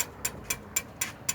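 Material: Glass.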